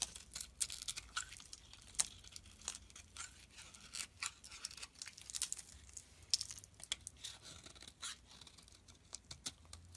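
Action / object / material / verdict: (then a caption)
scrape / bar of soap scraped with a knife blade / soap / none. A utility knife blade repeatedly scrapes thin, crisp flakes off a small, solid white bar of soap held in the hand. The sound is a quiet, bright run of dry scraping and crackling, with many short, sharp ticks and almost no low end.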